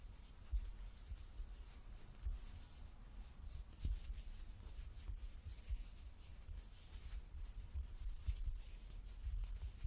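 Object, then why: Large wooden die. A large solid light-wood die with dark pips is held in both hands and turned in the palms while fingertips and nails rub and slide over its faces. The result is a quiet, steady scratching and rubbing with occasional soft low bumps over a faint bright hiss.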